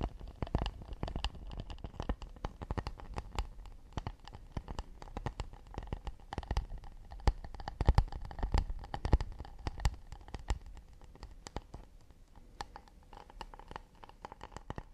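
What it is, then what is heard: Acacia wood plate. Fingertips and nails tap and scratch quickly on the underside of an empty, round, hollow acacia wooden plate held upside down in both hands. Dense, irregular clicks and soft scrapes overlap with a low, dull hollow thump, with a few sharper, louder taps around the middle.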